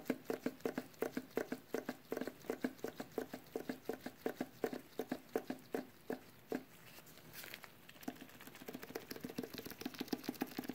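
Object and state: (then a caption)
Metal tin can. Latex-gloved fingertips tap rapidly on the metal lid of a small, sealed, full metal food can, producing quick, soft, hollow taps with a low-mid ring that dies almost instantly. The tapping runs in an uneven patter, pauses for about a second and a half around the middle with a brief bright rustle, then resumes at the same pace.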